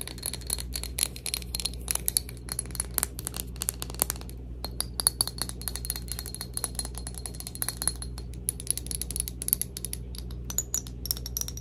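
A glass bottle of Cloud perfume is tapped rapidly, giving many short, bright clicks and clinks with faint high ringing tones. A steady low hum runs underneath throughout.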